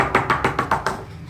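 Six knocks on a Canson "Desenho 200" textured drawing paper pad of 224 g/m², a very thick, full-bodied paper heavier than smooth paper. Each knock is a short, dull tap with a quick decay, spaced evenly and fading slightly toward the end.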